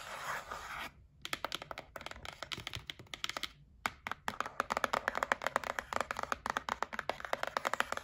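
A held white printed cardboard gift box is scratched with long nails, giving a brief dry rasping hiss before a short pause. It is then tapped in quick, crisp clicks with a hollow papery tone, coming in uneven bursts with brief gaps and growing slightly louder and faster toward the end.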